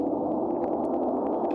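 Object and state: Nothing is struck.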